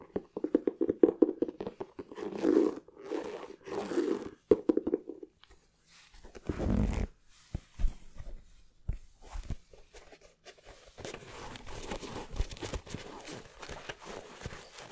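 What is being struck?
Leather sneaker.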